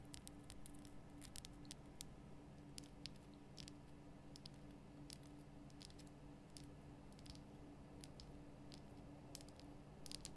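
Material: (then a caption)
Rock salt. A large, solid, lit pink Himalayan rock-salt lamp is tapped with long painted nail tips. The result is a quiet, steady patter of sharp, bright clicks that die away almost instantly. They sit over a low hum with a faint tone near 300 Hz.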